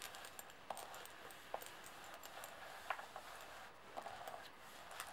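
A handful of brass-coloured metal coins spread on a white table are tapped and slid around by long painted nails and fingertips. Quiet, irregular light metallic clicks and clinks, each dying away quickly, stand out over a soft, steady swishing of coins sliding across the surface.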